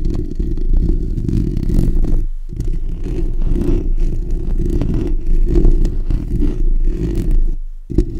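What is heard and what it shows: Fingertips and short natural nails of both hands scratch the bare steel wire-mesh hollow dome grille of a black desktop condenser microphone. The result is a dense, close, low rumbling scrape with almost no high content, continuous apart from brief gaps near 2.3 and 7.8 seconds.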